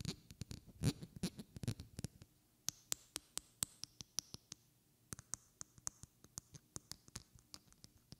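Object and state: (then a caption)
Glass perfume bottle. Long red-painted fingernails tap and scratch a small, partly filled glass perfume bottle with a white cap held close to the mic. A cluster of soft scratchy rustles gives way to a loose series of sharp, bright clicks that die away instantly, with a brief pause midway. The taps stay quiet and delicate over a faint low hum.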